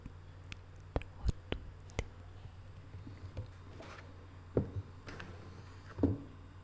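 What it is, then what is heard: Hollow printed cardboard box. Long manicured nails tap the lid and edges of a small, hollow, closed rectangular cardboard box covered in Paris photo prints, with a small figurine on the lid. A quiet series of short, dry, separate taps sounds over a steady low hum, some with a soft hollow thud and others with a brief brighter click.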